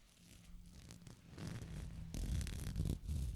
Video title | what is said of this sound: Coaster Collection ASMR - Whispers, Tapping and More for Relaxation | all of the beads still have a little bit of, I guess, like a movement on the wiring to shake a bit